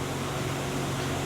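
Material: Nothing is struck.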